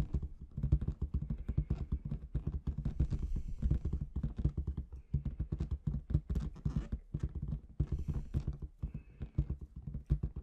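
Long red nails tap rhythmically on the surface of a large, inflated clear latex balloon with confetti inside. The tapping is a dense stream of short, dull, low-pitched thumps that drum quickly for the whole clip, with brief rustling bursts between them.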